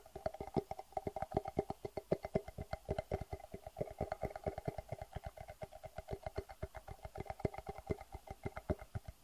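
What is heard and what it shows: Fingernails tap and scratch the sides of a medium, clear, hollow and empty acrylic plastic box held in the hands. About sixty quick, dry taps follow one another in a steady, fast run, each with a hollow knock in the low-mid range and almost no ring. Faint scratching sounds fill the gaps between them.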